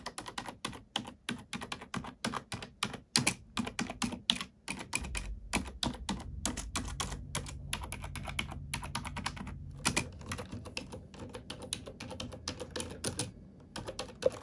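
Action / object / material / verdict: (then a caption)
tap / plastic computer keyboard / plastic / none. A black plastic computer keyboard is typed on with fingertips and nails, giving a fast, steady stream of short, dry, bright clicks and clacks that die away almost instantly. A faint low hum sits underneath through the middle of the clip.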